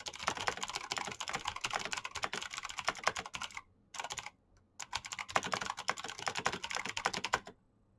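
Fingertips type fast on a black plastic mechanical keyboard with clicky switches, producing a rapid stream of sharp, bright clicks with very little low end and almost no ring. The typing breaks off in two short pauses near the middle, then resumes in a dense burst before stopping shortly before the end.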